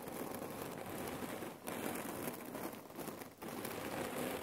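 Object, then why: Cotton pillow filled with cherry pits. Long nails tap and scratch the fabric of a folded red cotton neck warmer pillow filled with cherry pits. A steady, dense crackling and gritty rattling of the pits shifting under the cloth fills the clip. The sound briefly thins twice before resuming.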